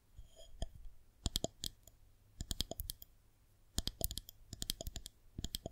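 A solid white plastic rolling pin is held horizontally while long nails tap along its top, then tap and scratch it from below. Short, dry clicks come in quick clusters separated by brief pauses, each with a bright edge and almost no ring.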